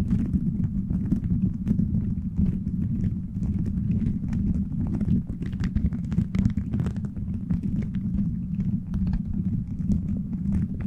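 Fingertips quickly tap and scratch a beaded plastic gummy-bear cover on a microphone. The result is a steady, dense stream of soft, muffled thumps, mostly low, with sharp little clicks scattered throughout.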